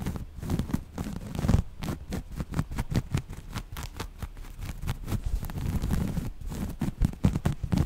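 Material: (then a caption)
Cotton. Long nails scratch the grid texture of a folded piece of grey waffle-weave cotton fabric. Rapid, closely spaced scratching strokes run throughout, heard as soft, muffled rasps with most of their energy low. Each stroke dies away almost instantly, with little high brightness.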